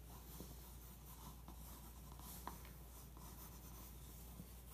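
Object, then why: Pencil on a glossy magazine page. A pencil tip rubs and traces over a printed photo on the thin glossy paper page of an open magazine lying on carpet. It makes a quiet, steady scratchy rubbing over a low background hum, with two faint ticks standing out briefly.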